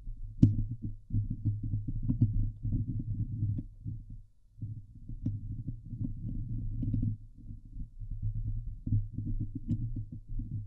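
Long glitter nails on both hands scratch the hollow steel mesh grille of a Blue Yeti microphone. The result is a dense, low, rumbling scrape centered around 105 Hz, with faint sharp ticks on top. It briefly drops out near the midpoint and then continues steadily.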